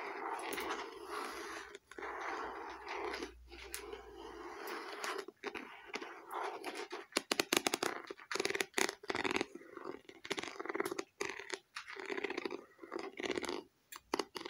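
Long nails tap and scratch a small, hollow red faux leather eyeglasses case with a stitched leatherette cover. Steady dry scraping gives way to a quick run of short, crisp taps, each with a hollow mid-range knock and a bright, papery edge that stops almost at once.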